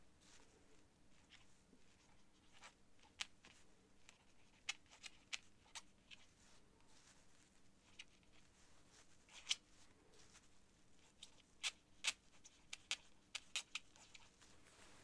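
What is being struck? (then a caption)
Paper sheet under a quill nib. The nib of a quill or dip pen scratches across flat, thin cream writing paper on a desk in continuous handwriting strokes. It produces a quiet, bright, scratchy rasp over a soft hiss, with sharp clicking ticks scattered throughout as the nib catches and lifts from the sheet.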